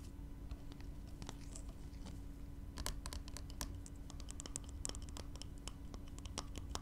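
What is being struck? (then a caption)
Small glass spray bottle partly filled with liquid. Nails scratch and tap along a small glass spray bottle partly filled with yellow liquid. Quick, bright clicks and scrapes stand out over a low, steady hum, growing busier in the second half.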